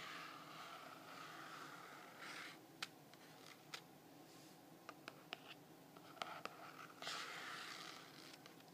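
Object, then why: Hardcover journal with printed paper cover. Fingertips and nails tap and scratch the printed cover and spine of a medium hardcover paper journal with a clock-print cover, held close. Soft, hissy scratching and rubbing is broken by several sharp, dry taps that die away almost instantly.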